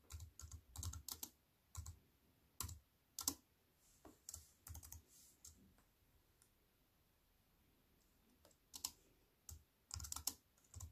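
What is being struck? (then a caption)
Plastic computer keyboard with aluminium frame. Fingertips with long white nails type on a compact wireless keyboard with black plastic keys in a thin silver aluminium frame, resting on a wooden table. Quick bursts of sharp, bright clicks over soft low thuds, each tap dying away almost at once. The typing pauses to near silence midway, then picks up again.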